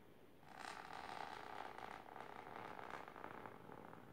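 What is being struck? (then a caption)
Fabric-covered storage box. Long silver nails scratch aggressively with both hands across a large pink patterned fabric-covered box or ottoman. A dense, continuous raspy scratching swells in after half a second, centered in the midrange with a bright hiss above. It dips briefly around the two-second mark, then continues and tapers off slightly by the end.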